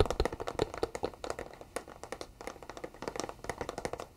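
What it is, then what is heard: Cardboard box. A flat, thin, empty-looking white cardboard product box is held upright in both hands while fingertips and short nails tap along its face and edges. A rapid, uneven stream of short, dry taps and clicks with a hollow mid-range body fades almost instantly after each strike, with louder hits at the start.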